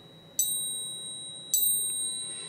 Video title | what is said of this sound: 5 great ways to test your gold and silver at home! | that was the best ping of the lot